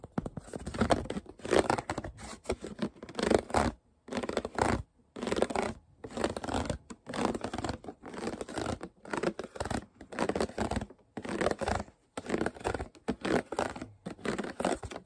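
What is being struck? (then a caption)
Thin plastic water bottle. A clear, ridged PET plastic water bottle, hollow and empty or nearly so, is held upright in the hand while fingers and nails scratch and crinkle its ridged sides. Quick bursts of crackly, papery scratching come in short rhythmic bouts separated by brief silences.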